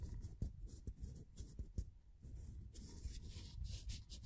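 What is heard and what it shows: A small, thin, solid laser-cut plywood figure with layered wood is held between the fingertips while the fingers rub and bend its layers. The sound is a quiet, close, low scratching and rubbing, with several sharp, brief ticks and a faint bright hiss.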